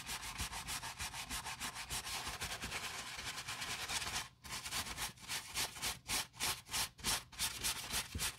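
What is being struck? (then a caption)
Nylon fabric lining scrubbed with bristle brush. A wooden-handled bristle brush, held in gloved hands, scrubs the soapy grey jacquard nylon lining of a Prada handbag turned inside out. The scrubbing is bright and rasping, with dense back-and-forth strokes. It pauses briefly, then resumes as more distinctly separated strokes.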